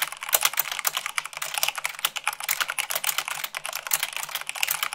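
Long pink nails and fingertips type fast, at about 98 words per minute, on a full-size mechanical keyboard with white plastic keycaps on a black frame. A dense, steady stream of short, bright, crisp clicks and clacks follows, each dying out almost instantly with no low-end thump.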